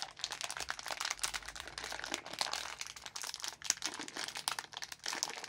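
Gloved fingertips tear and crinkle the top edge of a small, orange, printed plastic film packet of Mini Jelly Babies that is full of sweets. It makes a continuous run of quiet, dense, bright crinkling and crackling with sharp little snaps. Each snap cuts off almost instantly, with almost no low end.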